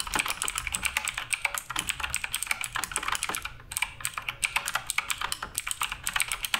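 Fingertips type continuously on the plastic keycaps of a black Redragon K588 Broadsword RGB mechanical keyboard. Rapid, bright, clacky keystrokes follow one another with very short decay and little low end. There is a brief lull near the middle before the typing resumes.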